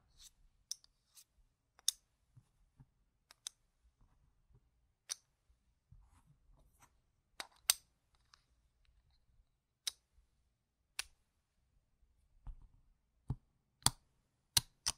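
A hand with painted fingernails holds a small stack of solid, yellow-rimmed plastic poker-chip-style board-game tokens, about 4 cm across, clicking them against each other and setting the stack down on a fabric mat. The result is a quiet, irregular series of sharp, bright clicks with almost no ring, separated by near-silence.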